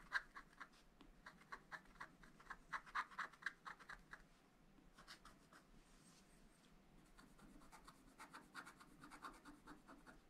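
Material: Coated paper.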